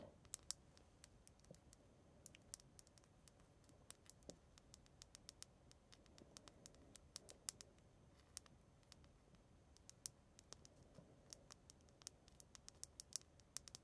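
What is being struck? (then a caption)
Polished obsidian stone pendant. Long fingernails tap and click on the surface of a small, round, polished black obsidian pendant of solid stone, hanging on a dark chain and held in one hand. Dozens of sharp, bright, dry clicks come in irregular bursts over a quiet, low background hiss, each one dying away almost instantly.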